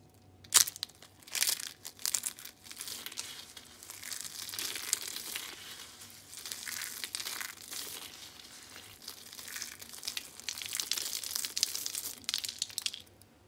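Dry pink soap pieces and curls are crushed and crumbled between both hands, then dropped onto a pile of flakes. A few sharp, loud cracks open the clip, followed by a dense run of bright, dry crunching and crinkling that swells and eases in waves before trailing off to near silence.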